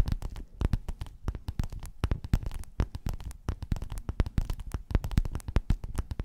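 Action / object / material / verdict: tap / padded quilted faux-leather cover / faux leather / none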